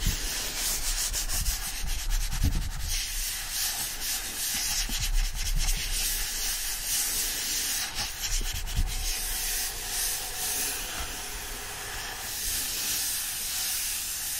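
An *Alice* book lies open while both palms press together around its standing paper pages and rub them. A steady, dry papery rubbing and scratching hiss runs throughout, bright on top with a soft low rumble underneath, swelling and easing with the strokes.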